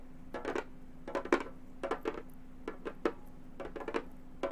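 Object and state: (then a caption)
Synthetic-head frame drum. Long gold metal finger claws tap on a hollow, round Remo frame drum with a synthetic head. Quick clusters of light, clicky taps with a mid-range tone each die away almost at once. A faint steady hum sits underneath throughout.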